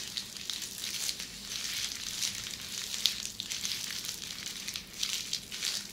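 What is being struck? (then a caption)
Plastic bubble wrap. Flat red plastic bubble wrap is scratched and pressed close up with long red-painted nails. The result is a continuous bright, crinkly crackle of quick scratches and small pops, almost entirely in the high range with very little low end.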